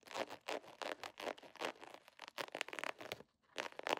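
An iridescent holographic plastic foil pouch with a scale pattern is held in the hand and scratched, tapped and crinkled with long nails. Quick bursts of bright, crisp crinkling and scraping follow one another with no low end, fall silent briefly past the three-second mark, then pick up again.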